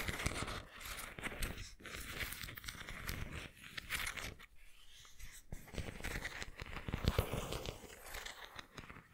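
Fingertips and nails rub and scratch the patterned surface of a white, textured ceramic pineapple figurine held in both hands. The result is a dense, gritty scratching and crinkly rustle with bright edges, running in bursts separated by brief quieter gaps.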